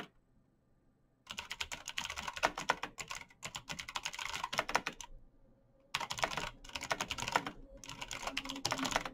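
Fingertips type quickly on a black plastic mechanical keyboard with backlit keys, producing steady, bright, clicky key taps. After a near-silent first second, the typing runs in dense bursts with short gaps, pauses briefly around five seconds, then resumes and continues to the end.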